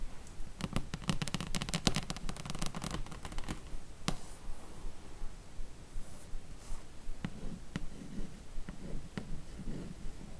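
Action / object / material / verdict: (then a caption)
tap / cardboard slipcase full of books / cardboard / none. Long nails tap and trace the printed side panel of a glossy cardboard slipcase from a Harry Potter book box set full of books. A quick flurry of crisp, clicky taps comes first, then softer scratchy tracing over a low murmur, broken by a few isolated sharp taps with almost no ring.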